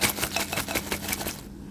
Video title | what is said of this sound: CRISPY Air Fryer Wings - What's the SECRET? | when I shake them, you can hear how crispy they are